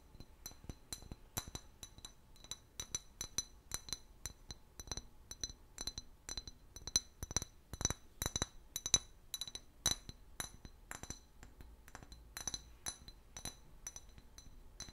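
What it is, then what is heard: Glass bottle. A clear, hollow, apparently empty glass bottle about 20–25 cm tall with a paper label is held in one hand and tapped and scratched with the fingernails of the other. Dense, quick, bright glassy clinks and ticks follow one another with very short ring, mixed with soft scratching.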